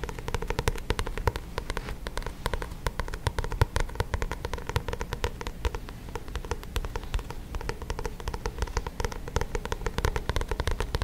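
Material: Card.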